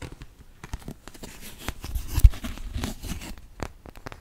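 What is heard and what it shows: A white molded plastic artist's paint palette, empty, thin-walled and hollow-backed with round wells and a thumb hole, about hand-span sized, is held up in both hands close by and tapped and scratched with fingertips and medium-length nails on its surface and rim. Many quick, dry taps with no ring mix with soft scratching and crinkly rustle, mostly low thuddy energy with a few sharper, louder clicks around the middle.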